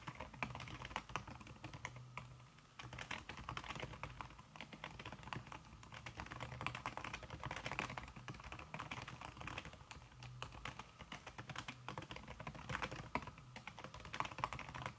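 Fast typing with fingertips and long red-painted nails on a thin backlit aluminium keyboard whose plastic keys sit under a red silicone skin. The result is a dense, continuous stream of soft, muted key taps with short, dull clicks and brighter nail ticks, with a brief pause near the three-second mark.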